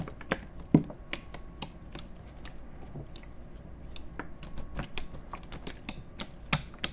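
An empty, hollow, clear plastic (PET) water bottle is held horizontally in both hands and squeezed and crinkled with the fingertips close to the microphones. The result is a quick, irregular series of sharp, dry crackles and clicks, some bright and some thumpier, over a faint low background hum.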